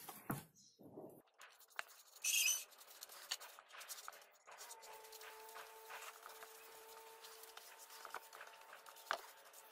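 A red-handled paintbrush is rubbed and stroked across the wooden roof panel of a small hollow birdhouse made of light pine boards, with a round entrance hole and a wooden dowel perch, standing outdoors, brushing on finish. Quiet, bright, scratchy brushing strokes and light patter come and go, with one louder hissing burst early on and a faint steady tone holding under the later strokes.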